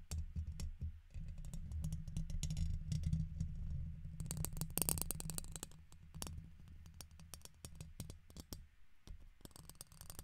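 A red plastic guitar pick scratches and taps its tip across the hollow, woven steel mesh dome grille of a fist-sized silver condenser microphone. It makes a dense, uneven run of quick, dry clicks and raspy scratches with bright, crisp edges. A heavy, close low rumble runs underneath, loudest in the middle and easing off toward the end.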